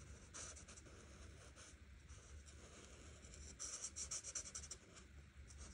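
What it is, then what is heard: Marker strokes on a paper colouring page. A grey art marker tip is stroked across a flat paper coloring book page in short coloring strokes, making a soft, bright, writing-like scratch over a faint steady low hum. The quick, uneven strokes grow louder and denser partway through, then ease back to lighter scratching.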